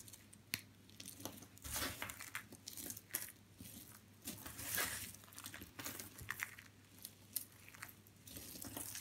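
Small, brittle white and blue dry soap fragments are crushed and crumbled between fingers into finer pieces, with some grains sprinkled from the hand onto the pile. The result is a quiet, dense run of dry, bright crackling and crunching with short, sharp snaps. Softer crumbly rustles fill the gaps between them.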